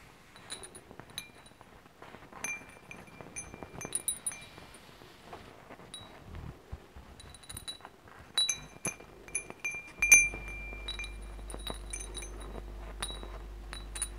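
Fingertips gently touch and tap the hollow metal tubes of a hanging wind chime with glass crystal beads, making them clink. Bright, ringing metallic tones with high shimmering partials sound in scattered, irregular tinkles and brief clusters throughout. From about ten seconds on, a steady low hum sits beneath the chimes.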